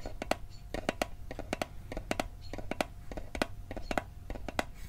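Fingertips tap the lid and sides of a small, hollow, rectangular metal Altoids mint tin held in the hand. The result is a quick run of short, dry metallic clicks, often in close pairs, each with a faint tinny ring around 700 Hz and bright high edges. The taps decay almost instantly over a low background rumble.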